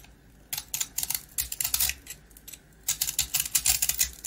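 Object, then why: Small round rusk with a hard coating, scraped with a blade. A box-cutter blade scrapes and carves the hard dark coating off a small round rusk, a dry twice-baked bread that is solid and crumbly inside, held in the hand. Quick bursts of crisp, bright scratching and crackling come in two busy runs, separated by a short quiet pause.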